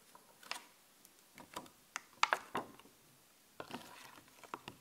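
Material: Plastic.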